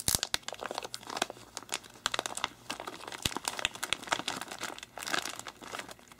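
An empty, flat, thin clear polypropylene comic book sleeve, about comic size, is held and smoothed by bare fingertips and palm while other comics lie still nearby. It gives a dense run of quick, bright crinkles and soft rubbing with almost no low end. The crackles die away almost instantly.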